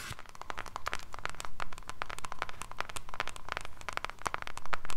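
A small closed pink cardboard jewellery gift box is held in both hands while long pink nails tap and scratch its surface. The result is a rapid run of dry, crackly clicks with a scratchy rustle and a faint ringing tone around 1.2 kHz.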